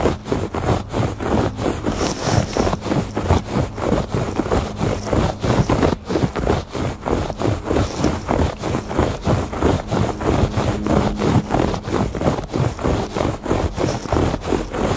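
Fingertips and nails make slow scratches back and forth across the weave of a woven fabric rug. A steady rhythm of dry, rasping strokes repeats throughout over a low, constant hum.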